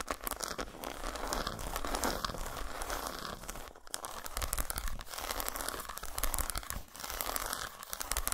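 Long nails scratch and tap on an unwrapped solid dark chocolate bar resting on a towel, and fingertips rub its surface. The result is a steady, dry scratching and crinkling texture with a low rumble underneath and bright, papery edges. It pauses briefly near 3.8, 5 and 6.9 seconds.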